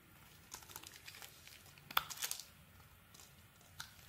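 A metal utility blade scrapes and peels slices off a red solid bar of soap held in the hand. Soft, bright scraping and crinkling ticks run throughout, with sharper, louder crunching cuts around the middle and one more near the end. The slices come away with a dry, crisp rasp and almost no low end.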